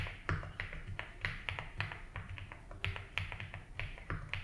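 Fingertips type continuously on a compact 75% mechanical keyboard with a blue case and white and blue ABS keycaps, resting on a grey desk mat. A steady, unhurried run of short keystrokes is heard, each a bright click over a deep, muted thock around 94 Hz that dies away quickly.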